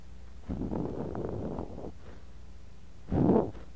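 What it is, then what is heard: Kinetic sand scraped in a glass cup. A bamboo ear pick digs and scratches at the surface of kinetic sand packed into a clear glass cup, around a mini microphone buried in the sand. A soft, muffled, low grainy scraping runs for about a second and a half, then after a quiet pause a shorter, louder dig crunches close to the mic, with no bright highs.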